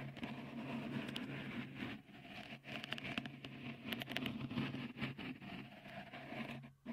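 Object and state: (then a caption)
Textured silicone microphone cover. Fingertips scratch a small, hollow, white dimpled cover, likely silicone, fitted over the right capsule of a Tascam recorder. The result is a close, dense, bristly scratching and pattering with bright crackly edges over a steady low hum. It continues almost without a break, dipping briefly around two seconds and fading near the end.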